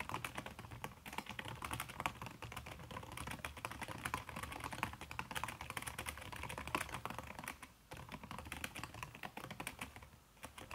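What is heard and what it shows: Fast typing with fingertips and long red-painted nails on a backlit aluminium laptop keyboard with a red silicone skin over its plastic keys. A dense, steady stream of soft, muted clicks and taps runs throughout, with short pauses near the eight-second mark and near the end.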